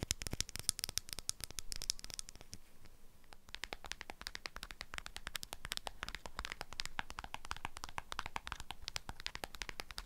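Long acrylic nails tap and scratch the metal lid of a small dark glass jar with a paper label on top. Rapid, sharp, dry clicks and bright scratching come in dense bursts, with a brief quieter, scratchier stretch near the three-second mark before the quick tapping resumes.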